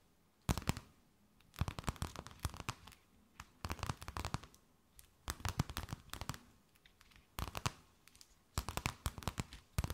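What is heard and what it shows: A thin, empty, clear plastic bag held between both hands is tapped, scratched and crinkled with long nails. Short bursts of sharp, bright crackling and crinkling come in clusters separated by near-silent pauses.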